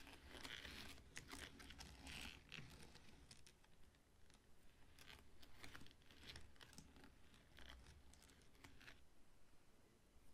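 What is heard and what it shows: Fingertips and short nails stroke and scratch the stiff, dry crown leaves at the top of a whole ripe pineapple standing upright on a dark table. Quiet, irregular dry rustling and crinkly scratches come in soft bursts with bright, papery edges over a low, steady rumble.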